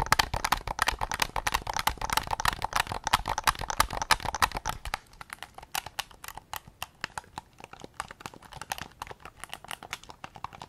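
Fingertips tap rapidly and irregularly on a hollow, white hard-plastic PS5 DualSense controller, first across its back shell and grips, then on the front near the recorder. The first half is a dense, louder patter of dry, hollow clicks with some low thump. It then drops to quieter, sparser, sharp ticks that die away almost instantly.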